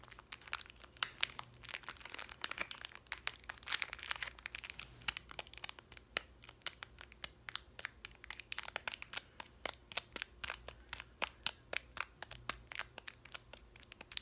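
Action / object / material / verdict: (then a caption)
tap / plastic snack bar wrapper / plastic / none. Long nails tap, scratch and crinkle the plastic wrapper of a chewy granola bar. Dense, bright crackles and sharp clicks come in quick succession, with a faint steady low hum underneath.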